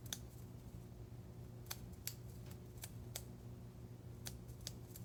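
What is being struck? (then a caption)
Metal ceremonial knife. A blunt metal ceremonial knife (athame) is tapped and scratched as an ASMR trigger, giving about nine short, bright metallic clicks that die away almost at once. Between the clicks there is only a faint scraping texture over a steady low background hum.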